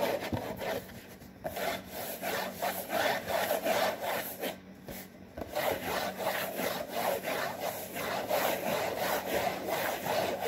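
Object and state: Cardboard box being scratched.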